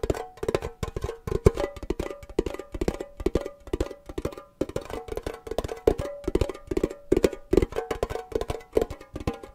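A small, hollow, wedge-shaped printed metal cake-slice tin with its lid on is held up and tapped fast with fingernails and fingertips. The result is a dense run of short, dry clicks and knocks with a hollow tone around 400 Hz and almost no ring.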